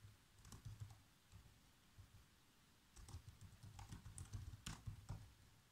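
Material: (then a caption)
Plastic. Bare fingertips with short nails tap keys on a black plastic laptop keyboard in continuous typing. Soft, dull clicks with a low thump come in a short burst, pause briefly, then return as a denser run of brighter taps.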